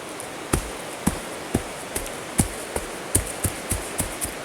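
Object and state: Hollow ground underfoot.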